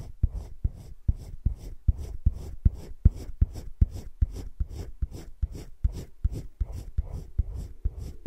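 A hand rubs a teal colored pencil in short shading strokes over thick cream drawing paper in a spiral-bound drawing book lying flat. About 21 soft, low, scratchy strokes repeat at a steady, slightly uneven pace of roughly two or three per second, each with a brief dull thump and faint high paper hiss.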